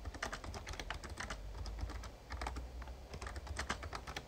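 Fingertips type on the keys of a full-size backlit plastic Razer Ornata Chroma mechamembrane gaming keyboard. A quick, uneven run of soft, short clacks with brighter taps plays over a steady low rumble, and each keystroke dies away almost at once.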